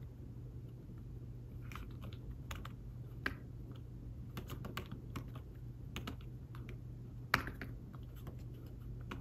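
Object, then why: Thin fabric-covered folio keyboard. Slow fingertip typing on a thin, fabric-covered tablet folio keyboard makes soft, muted taps with short, dry clicks. The taps sit over a steady low hum, with two sharper, louder taps near 3.3 and 7.3 seconds.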